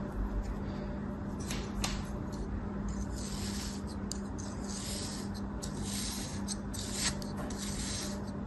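A thin metal blade slices repeatedly through a small, solid, purple, cake-shaped kinetic sand mold held in the palm. It makes soft, gritty scraping cuts with bright, sandy rasps. A steady low hum runs underneath throughout.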